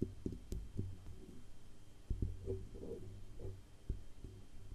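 Long acrylic nails tap along the band under the grille and down the hollow metal body of a silver Blue Yeti USB microphone. The taps come through as short, dull, low thumps with a faint hum between them and some soft scraping mid-clip.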